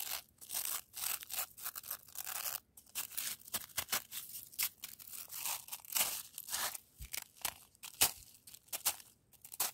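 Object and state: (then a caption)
Granular frozen snow. A hand with long nails scratches and presses into a loose, coarse-grained pile of granular frozen snow. The result is a dense run of dry, crisp crunches and scraping bursts, bright and hissy with almost no low end.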